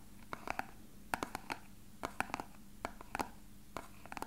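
A small, hollow, frosted translucent plastic box that appears empty is held in both hands and tapped and lightly scratched with fingertips and nails. About sixteen quick, dry taps and clicks come in uneven clusters, each with a short hollow ring in the midrange and a bright edge from the nails. The sounds die almost instantly over a faint low hum.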